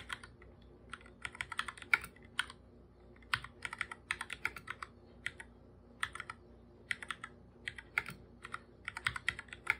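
Bare fingertips type fast on a full-size black computer keyboard with plastic keycaps and a hollow body. Quick, bright, clicky taps come in uneven bursts with short pauses, each tap dying away almost instantly with little low end.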